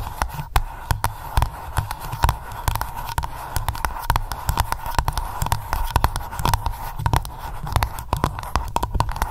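Long nails rapidly tap and scratch on the metal screw lid of a small glass candle jar labelled Lavender. A fast, uneven stream of short, sharp clicks runs over a steady low hum and a faint tone around 1 kHz, each tap dying away almost instantly.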